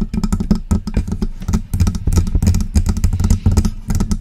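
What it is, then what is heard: Metal USB microphone tapped with nails. Long press-on nails tap and scratch the hollow body of a silver metal USB desktop microphone. The result is a quick, uneven run of sharp clicks over a dense, booming low thud. Each hit dies away almost at once, with bright ticks on top.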